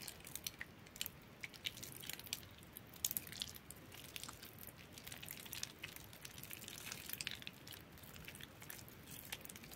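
Both hands with long metallic-polished nails squeeze and crush crumbly chunks of a large bar of soap soaked soft and mushy in a yellow plastic bowl with water. A dense run of quiet, wet squishes and crisp crackling crunches fills the clip, bright and hissy with little low end. The small sharp peaks trail off almost instantly.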